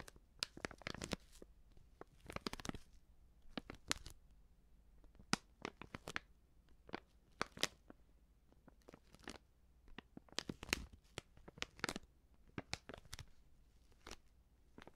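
Fingers crinkle and squeeze a medium, filled white Prix Garantie plastic seasoning bag. Quiet bursts of sharp, bright crackling and rustling come in irregular clusters, each crackle dying away almost instantly.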